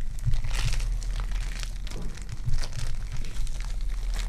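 Purple foam-bead clay is kneaded and pulled by fingertips with long dark nails. The result is a steady stream of sticky crinkling and crunching with a constant low hum underneath.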